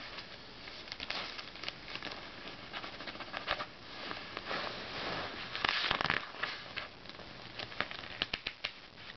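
Fingertips drag across the pages of an open Self magazine and turn its thin, glossy paper sheets. A soft, bright rustle runs throughout, dotted with sharp crackles and ticks, and a louder swishing page turn rises near the middle before quieter crinkles return.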